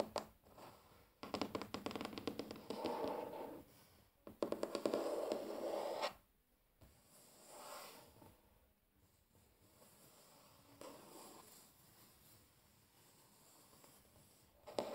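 Fingertips and short nails of both hands tap and rub a large, flat, solid wooden tabletop. Quick bursts of dry, closely spaced tapping and scratchy rubbing carry a mid-pitched woody tone. They are separated by quieter stretches of soft brushing and near silence.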